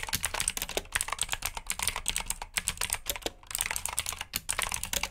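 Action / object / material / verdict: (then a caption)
tap / plastic mechanical keyboard / plastic / none. Fingertips type steadily on a black plastic backlit mechanical keyboard with blue switches. Fast, bright, clicky keystrokes come in quick, overlapping bursts, each one short and sharp with almost no ring, and there is a brief lull about two-thirds of the way through.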